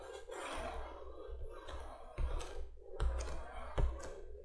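A hand taps its long nails on the front of a printed cardboard candolier box lying flat. The taps land as dull, low, hollow knocks that die away almost at once, over a soft, papery rustle.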